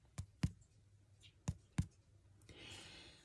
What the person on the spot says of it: it sounds hollow inside that means it's cooked all the way through and it's ready to eat